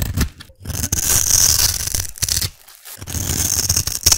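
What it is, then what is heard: Black soap cube. A metal blade carves and scrapes a solid black soap cube with a scored top, producing bright, hissy scraping strokes with a faint low thud underneath. A short pause separates the scrapes.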